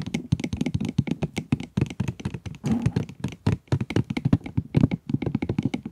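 Long nails tap rapidly on the plastic window and cardboard of a full pencil box, making a dense run of dozens of short, dull, low taps that stop dead with no ring. Around the middle the tapping briefly blurs into a rougher, continuous scratchy patch before the separate taps resume.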